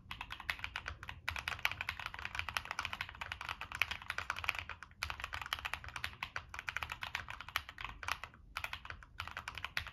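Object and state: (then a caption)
Mechanical keyboard being typed on. Fingertips type rapidly on a Monsgeek M1 mechanical keyboard with NK Creams switches, a dark metal case and purple and black plastic keycaps. The keys give a steady stream of short, dry, bright clacks centered in the upper mids, broken by brief pauses in the typing.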